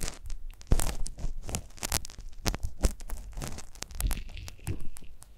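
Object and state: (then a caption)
Silicone ear microphone scraped with ear pick. A gloved hand scrapes inside the canal of a life-size hollow silicone ear model on a stand, using a metal ear pick with a pale handle, picked up by a microphone inside the ear. It makes close, crunchy, crackling scratches and rustles in quick irregular bursts, with dull low thumps and brief bright ticks that stop almost at once.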